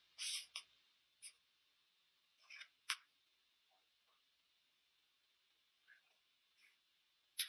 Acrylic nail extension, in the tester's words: ノックするとカチカチという音がします